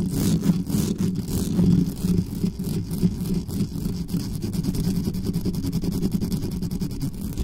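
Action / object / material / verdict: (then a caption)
scrape / metal mesh microphone grille / metal mesh / none. Long fingernails of both hands scratch quickly across the hollow metal mesh grille of a black condenser microphone. The result is a dense, continuous, rapid scraping with a heavy low rumble around 180 Hz and faint bright ticks, staying steadily loud throughout.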